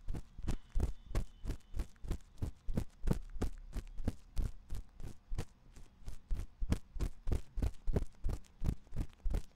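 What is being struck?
Silicone ear of a binaural microphone.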